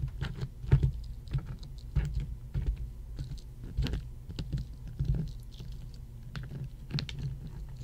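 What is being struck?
Ice cubes tapped with long fingernails.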